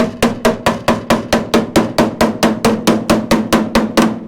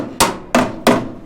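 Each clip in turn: First: solid steel body panel. Second: rotten rusted steel body panel.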